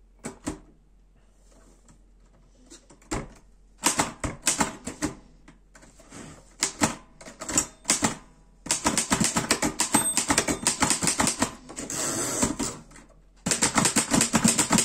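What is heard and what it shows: A black metal Erika 5 portable typewriter is typed on with fingertips, giving bright, sharp key strikes. The clicks come sparse and uneven at first, then turn into dense bursts of rapid clacking with short pauses between runs.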